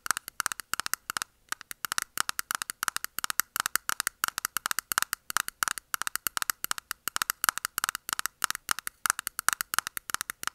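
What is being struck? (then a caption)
Small clear plastic container. A small, closed, round clear plastic makeup puff container holding pink puffs is held in hand and tapped and scratched with long nails. Dozens of quick, sharp, dry clicks run steadily for about ten seconds, each dying away almost instantly, with a bright hollow tone centred near 1.4 kHz.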